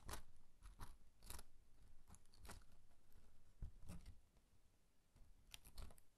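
Fingertips strum and flick the thin cut-paper strings of a pop-up harp inside an open paper card. The result is a quick series of dry, crisp papery snaps and flutters with a low, soft body. The clusters of bright clicks fade almost instantly.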